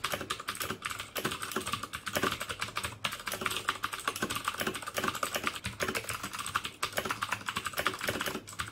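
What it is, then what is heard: Plastic mechanical keyboard. Fingertips type steadily on the keycaps of a black plastic mechanical keyboard with clicky Cherry MX Blue switches. Dense, rapid clicks are heard, each a short, bright, crisp snap centered around 1.2 kHz, with little low-end thump and almost no ring.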